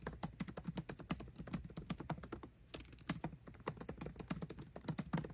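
Both hands type fast with their fingertips on the backlit black plastic keycaps of a 13-inch aluminium MacBook Pro laptop keyboard, tapping the keys continuously. The result is a rapid stream of short, soft, low-pitched clicks with very little ring, broken by a brief pause near the middle.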